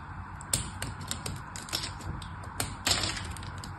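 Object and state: Soap bar being carved.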